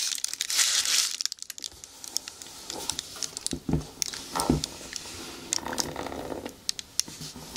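Long nails scratch and tap along the shaft and toe of a single black natural rubber boot, hollow and empty, standing upright on a table. Bright, crinkly scratching rasps alternate with short, hollow taps that thud with a little low body. The sounds come in quick, uneven bursts.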